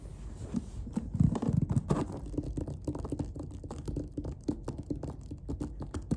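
Fingertips and nails tap and scratch across the lid of a closed, hollow black clarinet case with a faux-leather covering and white stitching, resting on a surface. The result is a rapid run of soft, dull, low thuds mixed with dry scratching, each tap dying away almost at once with no ring.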